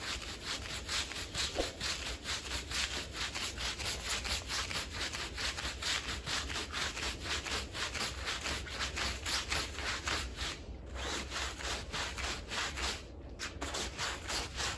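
A small, fringed, wet woven Persian-style pile rug lies flat on the floor covered in soap foam and is scrubbed with the stiff bristles of a long-handled green plastic broom. Quick, steady back-and-forth strokes make a bright, bristly, sloshing hiss over a faint low rumble, with two brief pauses near the end.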